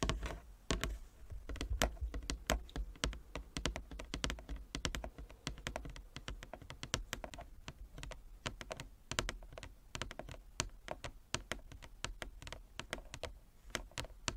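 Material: Wood.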